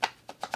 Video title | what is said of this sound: That Reseller Guy is going live! | They're still moving around just a little bit. I don't want them to move around in there.